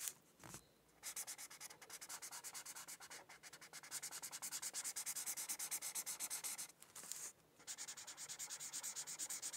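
The felt tip of a white marker rubs across a thin paper coloring sheet resting on a hardcover book in steady coloring strokes. The strokes make a bright, dry, scratchy sound at about three per second. They pause briefly near the start and again around the seven-second mark before resuming.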